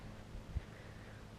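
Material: Nothing is struck.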